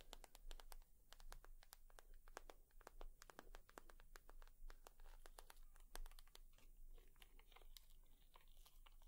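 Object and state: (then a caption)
Leather purse. A leather purse is tapped and scratched with long nails, giving a quick run of soft, dry clicks with sharp bright edges and faint scratchy crinkles. The sound stays quiet and close, each click dying away almost at once over a low steady hum.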